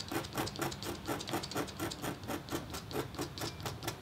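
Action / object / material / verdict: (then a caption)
scrape / black-coated copper foil scratch board scraped with a metal stylus / copper foil / none. A metal-tipped, red-handled stylus scratches a thin, solid, flat black-coated copper foil scratch board lying on a table partly under a white paper sheet. Quick, steady strokes, about two per second, make a dry, bright scraping hiss with a faint midrange rasp.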